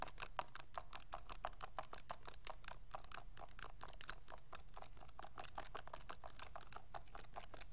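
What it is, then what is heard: Plastic graphing calculator keys. A pink plastic graphing calculator is held in both hands while fingertips press and click its keys in quick succession. The result is a rapid, steady stream of short, sharp, bright plastic clicks that die away almost instantly, over a constant low hum.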